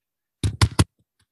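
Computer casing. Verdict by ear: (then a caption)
Hard. Three quick taps on a hard computer casing give short, dull knocks, mostly low thud with a light bright click on each. They stop dead with almost no ring.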